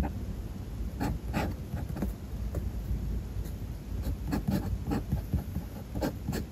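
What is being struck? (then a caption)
Metal fountain pen nib on a paper notebook page. A metal fountain pen nib scratches across a spiral-bound paper notebook page resting on a desk while writing. The sound is a quiet, low rubbing bed broken by short, bright scratchy strokes that come and go unevenly as the letters are formed.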